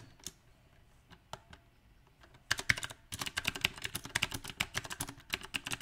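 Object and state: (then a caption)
Mechanical keyboard with round plastic keycaps. Both hands type rapidly with their fingertips on a compact backlit mechanical keyboard with round plastic typewriter-style keycaps. A few scattered, sharp clicks give way after about two and a half seconds to a dense, uneven burst of bright, clacky keystrokes. Each keystroke cuts off almost instantly.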